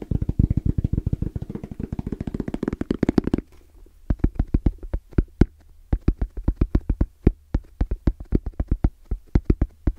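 Both hands tap their fingertips fast on a small, closed, hollow black zippered hard case with orange trim and a fabric-covered EVA shell. A dense run of rapid, dull, low thuds lasts about three and a half seconds, then breaks off with a brief pause. Sparser, uneven knocks follow over a faint low hum.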